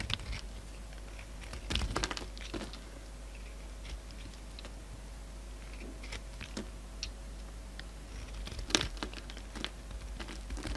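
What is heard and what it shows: A utility knife blade shaves a solid orange bar of soap, its glitter coating mostly removed, leaving curls on the table. Soft, crisp scraping and brief bright ticks come and go over a steady low hum, with a few louder cuts near the start and end.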